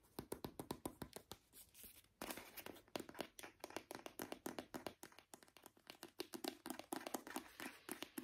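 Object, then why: Small plastic squeeze tube of hand cream. A small brown plastic squeeze tube of hand cream, hollow and apparently filled, is tapped with short nails and fingertips while being turned in the hands. It makes a fast, uneven run of dry, clicky taps with a hollow knock around the low midrange and bright nail clicks on top. Each tap dies away almost at once, with a brief pause and louder taps just past two seconds.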